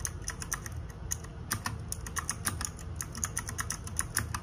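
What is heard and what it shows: Fingertips and nails type rapidly on the plastic keycaps of a small RGB-backlit 60% mechanical keyboard. A steady stream of sharp, bright clacks with very short decay rides over a faint low hum underneath.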